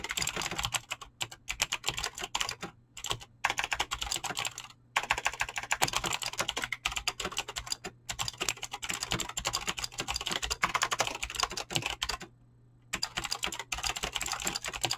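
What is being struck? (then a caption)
Mechanical keyboard with clicky switches and PBT plastic keycaps. A full-size mechanical keyboard with Razer clicky green switches and dyed PBT plastic keycaps sits on a desk and is typed on fast with fingertips and short nails. Continuous bright, crisp clicks clatter in rapid bursts, broken by a few brief pauses, over a faint low hum.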